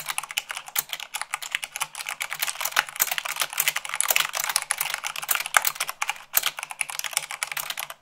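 Fingertips and long nails type fast, at about 98 words per minute, on a mechanical keyboard with white plastic keycaps on a black base. The result is a dense, steady stream of bright, crisp clicks and clacks with almost no low end, each keystroke dying away instantly.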